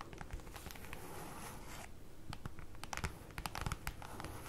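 Long acrylic nails scratch across and tap with their tips on a large, flat, black printed paper or cardboard folder lying on a table. A soft, dry scratching and crinkling texture is followed by a quick run of sharp, bright nail taps that die away almost instantly, all at a low volume over a dull low hum.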